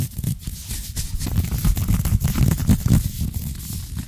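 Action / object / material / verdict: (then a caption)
scrape / ribbed knit fabric trousers / knit fabric / none. Fingertips and short nails scratch fast over soft green ribbed knit trouser fabric stretched across a bent knee, close to the microphone. The result is a dense, continuous rough rustle, mostly low and thumpy, with faint bright scratchy streaks flickering through it.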